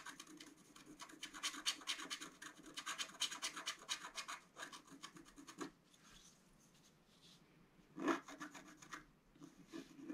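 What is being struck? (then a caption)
Wax-coated scratch-art card scratched with a wooden stylus. A wooden stylus scratches and rubs the coating of a flat, black-coated scratch-art card, about A4 size, lying on a table. Quick bright rasping strokes run for the first five or so seconds, then soften into a quiet, breathy rubbing. A sharper, louder scrape near the eighth second is followed by a few lighter strokes to the end.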